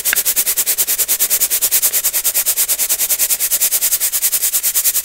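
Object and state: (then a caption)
Crunchy baking soda rubbed through a brass mesh sieve. Clumped baking soda is sifted and rubbed through a small gold-colored brass mesh sieve held over a clear glass bowl of powder. About 44 crisp, crunchy scraping clicks come in a steady rapid rhythm, roughly three per second. Each one is short and bright with almost no low end.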